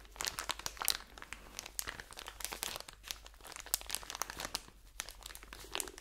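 A medium ebelin pack of cotton pads, wrapped in soft, crinkly plastic film and full of pads, is held in both hands close up and squeezed and rubbed with fingertips and nails. Dense, bright, dry crinkling and crackling fills the clip in quick bursts with almost no low end and no ring after each crackle.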